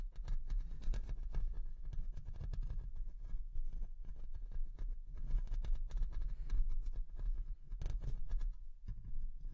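Long nails on both hands scratch and tap the mesh metal grille of a Rode NT1-A large condenser microphone with a hollow head, steadily throughout. The result is a dense run of soft scratches and quick taps with almost no ring, heard mostly as a low, muffled rumble near 82 Hz.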